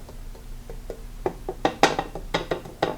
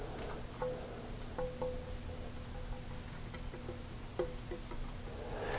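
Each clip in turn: First: Quick light taps with a short glassy clatter near 800 Hz; the plate rocks, so one fork leg sits ahead. Second: A few faint, dull ticks on a glass plate die at once with no ring, so it sits flat on both legs.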